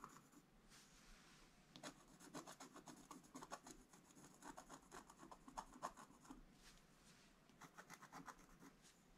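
A pointed wooden stylus held in the fingers scratches continuous strokes across a thin, solid, black wax-coated scratch-art card in a book lying flat on a table. The result is a quiet, dry, raspy scratching with a bright hiss, coming in quick, irregular strokes with short scratchy bursts between softer stretches.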